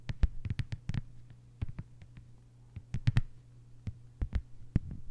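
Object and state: Plastic cutting mat tapped with fingernails.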